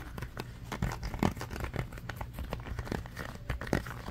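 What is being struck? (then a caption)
Ribbed silicone trivet mat. A red ribbed silicone trivet mat is held up and bent in the hands while fingernails scratch and squeeze its ridged surface. The result is a rapid, continuous run of short, dull, rubbery scratching and crinkling rasps, heavy in the low end, with a few louder squeezes standing out.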